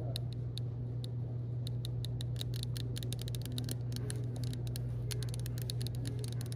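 A green-labelled Nature's Bounty cinnamon supplement bottle made of plastic and filled with capsules is held in the hand and tapped and scratched with long nails, and possibly shaken. Rapid, sharp little clicks and ticks come in quick bursts over a steady low hum of store background noise.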